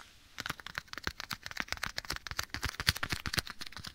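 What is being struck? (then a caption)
Leather glove. Bare fingertips quickly rub and scratch a black leather glove worn on a hand held near the right ear of a microphone. After a brief quiet start, a dense, irregular run of short, dry crackles and crinkly scrapes follows, bright and close, each snapping off almost instantly with no ring.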